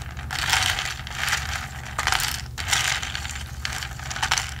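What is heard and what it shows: A ridged plastic straw is pumped up and down through the lid hole of a hollow, medium blue plastic tumbler by the fingertips. It produces a bright, ratchet-like rubbing and clicking that comes in uneven bursts over a low steady hum.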